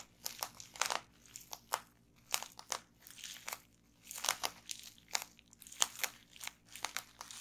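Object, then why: Plastic bubble wrap. Fingertips and nails from both hands press into a roll of clear plastic bubble wrap resting on a wooden table, popping the bubbles. It makes a quiet, irregular string of sharp, bright pops and crinkles with short gaps, each snap dying away almost at once.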